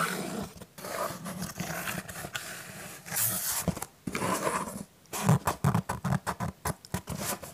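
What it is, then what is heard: Cardboard pizza box. Fingertips and nails scratch and tap the front and side of a hollow, pink printed cardboard Pizza Hut "My Box" held in both hands. Stretches of rough, continuous scratching give way to a run of quick, dry taps near the end.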